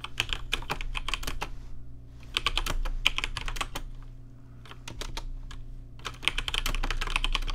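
Fingertips type on a rainbow-lit plastic RGB mechanical keyboard with plastic keycaps, producing sharp, bright clacks that fall in three quick bursts separated by short pauses. A steady low hum runs underneath the keystrokes throughout.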